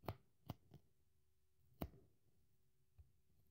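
A craft knife gouges and tears into the soft foam side of a dry pink polyurethane kitchen sponge that is already torn. Short, dry, muffled tearing bursts sound at irregular intervals with quick decay, the energy mostly low. Quiet gaps between them carry a faint steady hum.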